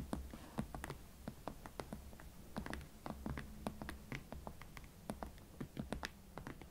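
Long nails scratch and tap the leather upper of a single hot pink Valentino Club Platform leather Chelsea ankle boot with a platform sole, held hollow and empty in both hands. Quick, dry clicks and soft scratches come in an irregular series over a steady low hum, each tap dying away almost at once.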